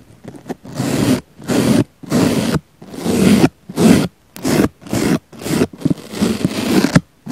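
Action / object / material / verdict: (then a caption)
scrape / foam sponge brushed with a small bristle brush / foam / none. A small black brush with a thin handle brushes and pokes the surface near the centre of a round, palm-sized pink foam sponge that is solid and soft. A few light taps lead into a series of separate rough, scraping brush strokes with quiet pauses between them. The strokes carry a low body and a hissing texture that reaches up into the high range.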